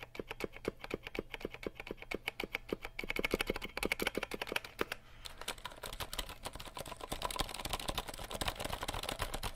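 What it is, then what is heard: Plastic mechanical keyboard. A compact 60% RGB mechanical keyboard with plastic keycaps and a hollow plastic case is held up close to the mic while fingertips rapidly tap and press the keys. The result is a fast stream of sharp, bright, short clicks with a hollow plastic knock. After a brief pause about halfway through, the tapping turns into a denser, more continuous clattering wash.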